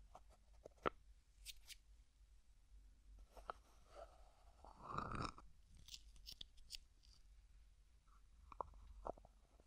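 A small, hollow white plastic cosmetic cream jar with a white plastic screw lid is held in one hand while fingertips twist and rub the lid. Quiet, crisp plastic clicks and crackly scratches are scattered through the clip, with a longer grinding twist of the lid near the middle. The sounds are sharp and dry, centered around 1.3 kHz with brief bright ticks.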